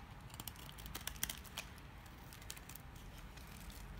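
A utility knife shaves curls off the end of a solid, dry green household soap bar. Quiet, dry crackling and crisp scraping clicks with a bright edge are heard, with the sharpest ticks bunched in the first second and a half, then softer crinkling. A low background rumble sits underneath.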